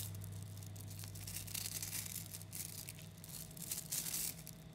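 Fingers stretch a clump of about 11,000 3mm neodymium magnetic balls into chains, then squeeze them back into a lump. The small metal spheres make dense, bright clicking and crackling in rising bursts over a steady low hum.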